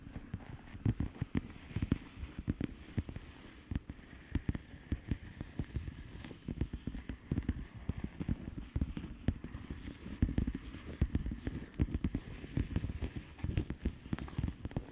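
Long manicured nails of both hands tap steadily on a flat plastic bubble wrap mailer with hollow air bubbles. The quick, short taps are dull and low, with occasional sharper clicks, and they keep up a dense, continuous patter for the whole clip.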